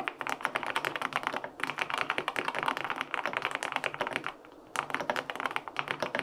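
Fingertips type steadily on a LINK65 compact mechanical keyboard with a white aluminum case, pale pink plastic keycaps and linear switches, resting on a desk. The result is a quick run of short, crisp, clacky key taps with a dry, mid-pitched tone and no ringing. Typing breaks briefly near 1.6 seconds and again around 4.3 to 4.7 seconds before continuing.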